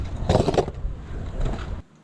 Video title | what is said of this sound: I Tried Copers on My Skateboard (Vision Shredder Reissue) | So when you grind with copers and it sounds plasticky and hollow, it's a little bit of a let down. I think it's especially wimpy when you grind on steel coping.